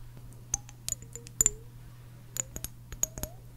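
Long acrylic nails tap and click on the base and sides of a small clear glass jar with a pink painted label and a green plastic screw lid, held in both hands. Sharp, bright clicks with very short ring come in scattered clusters over a steady low hum, and several taps leave a faint brief tone.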